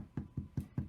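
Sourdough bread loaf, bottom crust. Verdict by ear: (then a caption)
Hollow. The bottom crust of a small sourdough loaf, fresh from the oven, is tapped four times, giving short, dull, low thumps with almost no ring. The loaf sounds completely hollow, meaning it is baked through and done.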